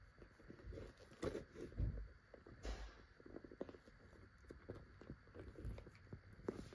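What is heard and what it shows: A child's fingertips tap and scratch the flexible plastic surface of a small, hollow, empty-looking pink transparent PVC vinyl zip cosmetic pouch while handling it on a couch. The taps are quiet, dull and low-heavy, with soft scratchy rustles between them and no ringing.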